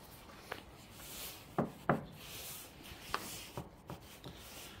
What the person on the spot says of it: 세라믹인데도 크게 울리지 않고 둔탁한 소리가 났습니다.